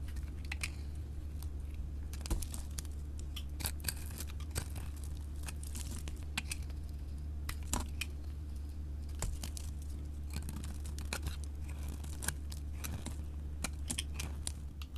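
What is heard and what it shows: A solid orange bar of soap, held in the hand, is shaved into curls with a utility knife blade. Quick, crisp scraping and crackling strokes repeat steadily throughout. A constant low hum runs underneath.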